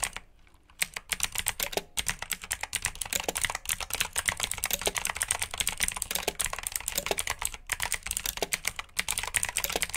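Fingertips with short nails type steadily on a full-size black plastic mechanical keyboard with RGB backlit keycaps, clicky blue switches and hollow key housings. A rapid stream of sharp, bright clicks and clacks with a light hollow plastic tone runs throughout, after a brief pause near the start.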